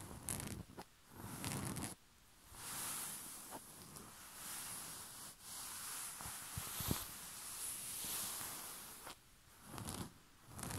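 Short fingernails of both hands scratch across a white rose-print cotton bed sheet. The result is a soft, steady fabric rustle with a bright, hissy scratching texture, rising and falling in long strokes with brief quieter pauses between passes.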